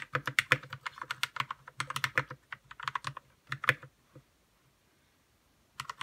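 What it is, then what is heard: Plastic mechanical keyboard being typed on. Fingertips typing on a white 60% RK61 mechanical keyboard with plastic keycaps and lubed red switches. Quick bursts of short, crisp clacks with a low thock under them run for about four seconds, then a pause before typing resumes near the end.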